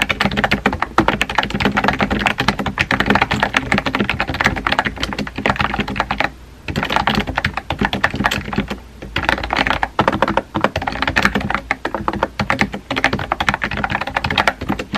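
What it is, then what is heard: Plastic keyboard being typed on. Fingertips type steadily on a compact pink plastic keyboard with round white keycaps, producing a dense run of quick, light clicks and taps. The typing briefly slows about midway before resuming at the same brisk pace.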